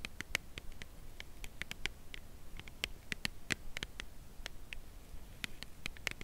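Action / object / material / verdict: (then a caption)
tap / cardboard chocolate bar box / cardboard / none. Long nails tap the narrow side edge of a full cardboard chocolate bar box held horizontally. The result is an irregular series of short, dry, bright clicks centered around 2.2 kHz that stop instantly, over a faint low hum.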